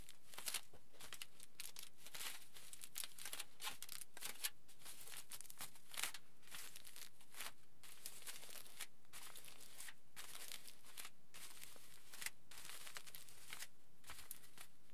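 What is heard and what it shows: Fingertips rub and scratch across a large, flattened aluminium foil sheet lying flat. The result is a steady run of quiet, crisp crinkling and scratchy rustles, bright and hissy at the high end with short louder bursts throughout.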